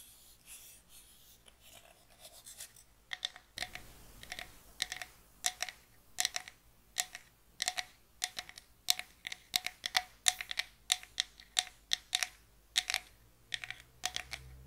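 Long nails scratch along the grain of a small, closed, hollow box of light pine with visible wood grain and tap on it. Quick, bright, dry clicks and scrapes follow each other closely, with almost no low end and very short ring.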